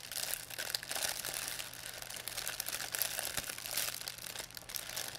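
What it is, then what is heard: Plastic shopping bag being crinkled. A thin white plastic pharmacy bag with red and blue print, crumpled into a ball, is crinkled and squeezed in both hands by fingers with long painted nails. The result is a dense, continuous stream of bright, crackly crinkles with quick-dying snaps and no low end.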